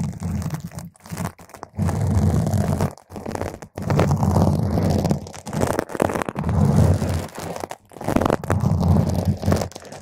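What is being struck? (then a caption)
Foam microphone windscreen. Long, pointed green acrylic nails poke and scratch at the edges and top of a purple spherical foam cover on a microphone. The result is dense, muffled, crackly scratching with a heavy low rumble, coming in irregular bursts broken by brief silent gaps.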